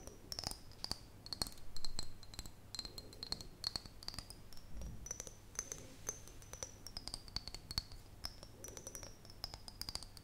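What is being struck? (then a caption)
Glass mason jar. An empty, clear, hollow glass mason jar is held in the hands and tapped and scratched with long fingernails along its side and near the lid. Quick, dry clicks and soft scratches patter irregularly over a thin, steady high tone that slowly wavers up and down, with a faint low hum beneath. The overall sound stays quiet and close, with each tap dying away almost instantly.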